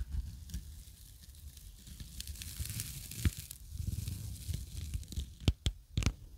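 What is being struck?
Nylon scouring pad.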